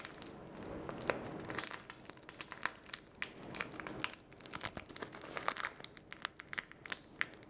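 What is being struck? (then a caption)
Small sealed plastic wipe sachet. A small, sealed, soft blue printed plastic sanitizing wipe sachet is pinched, crumpled and scratched up close by fingertips and short nails. The result is a steady, bright plastic crinkling with many quick, sharp crackles and ticks over a faint high hiss.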